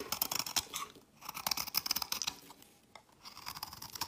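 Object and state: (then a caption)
Bar of soap being carved. A metal utility knife blade cuts and scrapes a solid white bar of soap held in the hand, shaving off white flakes. The sound is a dense run of crisp, bright scratchy crunches in three bursts, separated by short quiet pauses, with almost no low end.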